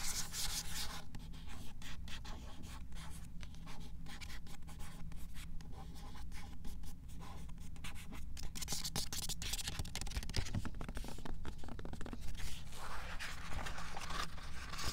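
A fingernail scratches and traces over the solid, matte card cover of a paperback book, "Girl Last Seen," resting on a shelf, then lifts the cover at the end. The result is a steady dry, bright scratching texture over a constant low hum, with the scratching thickening toward the end.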